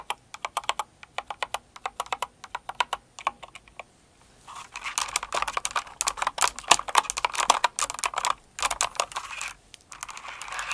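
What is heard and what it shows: A full-size blue and white mechanical keyboard with plastic keycaps, resting on purple faux fur, is typed on with long acrylic nails and fingertips. Sharp, clicky keystrokes come in separate spaced taps for the first four seconds, then turn into rapid, dense, bright clattering typing with short pauses.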